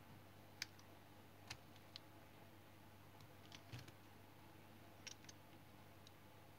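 A solid brown soap remnant held in the hand is cut and scraped with a utility knife blade, giving short, crisp, bright shaving clicks scattered across the clip. The strokes stop almost instantly with no ring, over a quiet, steady low hum.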